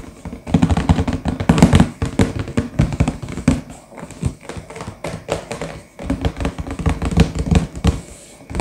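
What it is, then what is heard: Cardboard box full of pieces. Fingertips with short nails tap and drum rapidly on the front panel of a sealed, printed, medium-sized cardboard LEGO box that is hollow, full of pieces and lying flat. The result is a stream of quick, dull, hollow thuds in uneven bursts with brief lulls, low and boxy with little brightness and almost no ring.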